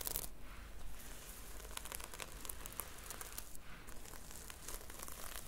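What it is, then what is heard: Sequin-covered notebook. Fingertips and long nails stroke and scratch the red sequin cover of a small notebook held upright. The result is a steady, quiet, bright crinkling and rustling with crisp little clicks, over a low background hum.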